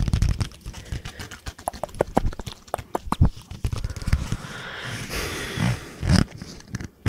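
A small blue spiral notebook with a glossy, likely plastic cover is held in the hands and tapped with long painted nails, making a quick run of sharp, dry clicks with a low thudding body and almost no ring. Midway the tapping gives way to a softer, brushing rustle before a few final clicks.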